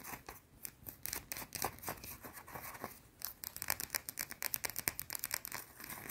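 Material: Soap.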